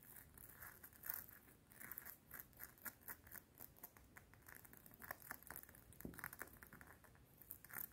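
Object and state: Metal chain necklace.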